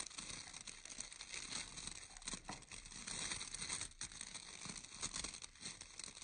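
Fingertips and nails scratch and pluck the bristles of a round bristle hair brush with an orange wooden core. The result is a steady, dense, bright crinkling and crackling texture with quick rustling bursts and little low end.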